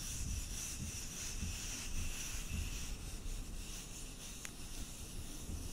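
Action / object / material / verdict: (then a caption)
scrape / wooden button / wood / none. A large, solid, palm-sized decorative four-hole button of apparently light, unfinished wood is held in both hands close to the mic and rubbed and scratched with long manicured nails. The result is a steady, soft scratching and rubbing texture with a dense low rumble underneath and a thin bright hiss on top, broken by a single brief tick near the end.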